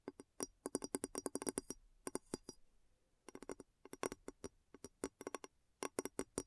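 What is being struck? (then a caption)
Glass bowl. Long nails tap the sides of a large, clear, hollow glass bowl turned upside down over a recorder. About 33 quick, dry taps come in irregular bursts with short pauses, each with a hollow tone near 277 Hz and a faint bright glassy edge. Every tap dies away almost at once.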